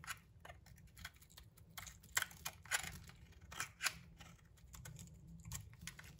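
A utility knife blade scrapes the bronze coating off a solid pink bar of soap held in the hand, exposing the pink soap underneath. The result is a quiet, irregular run of short, dry, crisp scratches with bright high texture and no ring.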